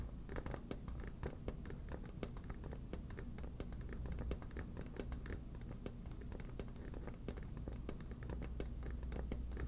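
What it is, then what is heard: Inflated vinyl beach ball. Long black nails tap and scratch the surface of a hollow, air-filled yellow smiley-face inflatable PVC beach ball held in one hand. The result is a steady run of quick, dry clicks and scratchy strokes over a low, hollow thrum.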